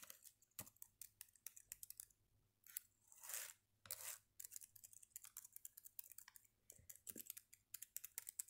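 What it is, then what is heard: Plastic laptop keyboard. Fingertips type and tap on the black chiclet keys of a red plastic Dell laptop with a hollow body. Quick, bright, dry clicks come in uneven bursts, broken by two longer soft brushing swells near the middle. The overall sound is quiet and close.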